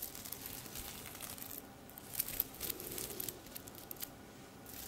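Long red nails brush and scratch the sequins of a silver sequined top hanging on a hanger that is held up. The result is a quiet, bright, crinkly rustle with scattered sharp little clicks and ticks from the sequins, with brief pauses between strokes.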